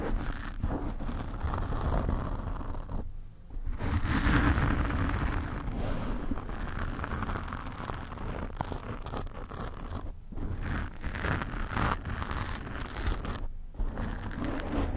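Long painted nails gently scratch a black foam microphone windscreen. The result is a steady, dense, low rumbling scrape with rustling texture, broken by brief quiet pauses.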